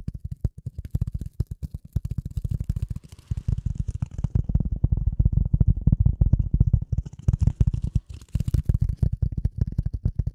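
A rectangular dark gray polyethylene foam sheet, held in front of the microphone, is tapped and scratched with the long nails of both hands. The result is a rapid, dense stream of soft, deep thuds with almost no ring, carrying faint bright scratchy hiss above them.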